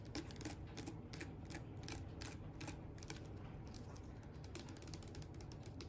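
A small blue hollow plastic slime tub with a lid is held and turned in the hands while long fingernails tap and scratch its sides and lid. Quick, bright clicking taps and scratchy rasps come in a dense, steady stream over a constant low rumble.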